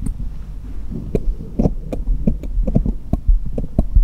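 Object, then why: Small steel jeweller's screwdrivers. Fingertips tap one small solid steel jeweller's screwdriver against a cluster of others lying on a patterned cloth in front of a foam-covered mic, metal on metal. Short, irregular taps land over a steady low hum, each a dull low thump with a brief bright tick on top that dies away almost at once.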